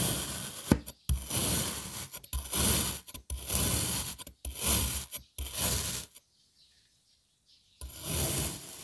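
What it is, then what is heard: Kinetic sand block being cut. A serrated knife cross-cuts a solid dark blue kinetic sand puzzle block that has been sliced into strips. It makes a series of gritty, rasping scrapes with a bright hiss and a low crunchy body, each stroke stopping abruptly. A silent pause follows before one more cut.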